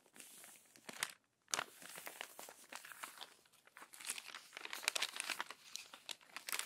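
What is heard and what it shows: Long nails unfold and press flat the crumpled pages of an open glossy paper magazine, making dense, bright crinkling and crackling. The crackles come in quick overlapping bursts with a brief silent gap near the start, and there is almost no low end.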